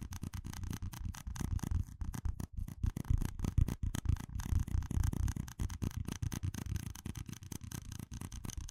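A stack of small, hollow red plastic cups is tapped and scratched with fingertips and nails. The result is a fast, irregular run of dry, close tapping and scratching with a deep, muffled body and a faint bright rasp, each tap dying away at once with no ring.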